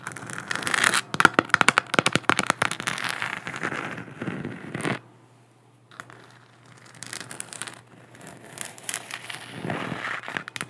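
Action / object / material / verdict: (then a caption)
scrape / 3D-printed plastic moon lamp tapped and scratched with long nails / plastic / none. Long black nails tap and scratch across a large, hollow, textured 3D-printed plastic moon lamp held close to the mic. Dense, crackly clicks and bright scraping fill the first half, then stop for about a second of near silence. The tapping and scratching return more softly toward the end.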